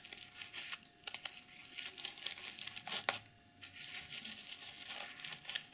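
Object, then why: Plastic sequin pouch. Long nails brush and scratch the reversible sequins of a plastic sequin pouch, producing a bright, dry crinkling and rustling with many quick scratches and brief louder flicks. The sound is thin and high, with almost no low end and very short decay.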